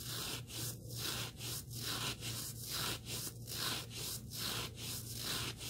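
Fingertips rub and scratch the surface and edge of a small, solid black abrasive sanding sponge block. The result is a continuous, bright, hissy scraping that swells and dips in regular back-and-forth strokes about once every second, over a steady low hum.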